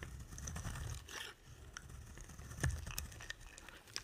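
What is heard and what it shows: A utility knife blade scrapes and carves a solid bar of dry pink soap held in the hand. A steady low, muffled scraping runs throughout, broken by brief crisp ticks and bright flicks, with the sharpest crack coming just past the midpoint. The carving leaves a soft, continuous rasp with no lingering ring.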